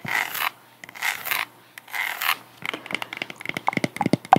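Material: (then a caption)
Jute. Long acrylic nails rub and scratch a sandal with white straps and a tall, solid, woven jute/cork wedge sole, held in the hands. Three slow, breathy rubbing strokes are followed by a quick run of sharp, bright scratches and clicks across the woven surface.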